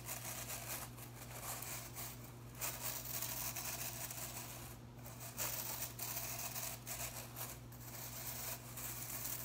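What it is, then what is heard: Plastic broom bristles. Fingers and nails flick and rub the blue plastic bristles of a broom head held tilted. The result is a soft, bright, scratchy rustling and crackling that swells and fades unevenly over a steady low hum.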